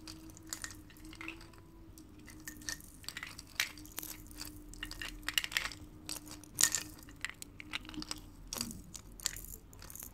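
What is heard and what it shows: Long painted fingernails tap and scratch the metal lid and bottom of a small, sealed, full tin peanut can. Bright, quick clicks and dry scraping rasps come at an uneven, varied pace over a faint, steady low hum.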